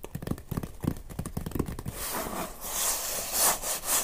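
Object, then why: Cardboard box. Fingertips and nails tap and scratch the top and front of a closed, hollow Nomadik cardboard box. A quick run of soft, hollow taps with low thumpy resonance fills the first two seconds, then gives way to a steady, bright, papery scratching that swells in short strokes.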